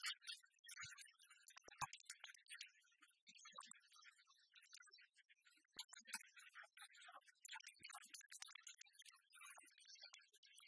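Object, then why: Large metal coin replica. A large, copper-coloured, solid metal replica of a penny is tapped with fingernails while lying flat on a wooden table, then held up and scratched across its embossed face. The result is a quiet run of fast, irregular, bright clicks and ticks with almost no low end and very little ring, mixed with dry, high scratching.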